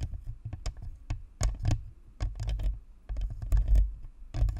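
Long fingernails on both hands scratch and tap the top and sides of a white, hollow, spherical plastic Blue Snowball USB microphone with a perforated grille. The result is a quick, uneven patter of close, muffled taps and scratchy brushes, each with a deep hollow thump and crisp clicky edges that die away fast.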